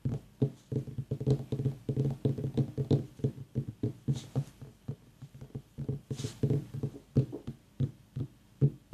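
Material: Pumpkin rind.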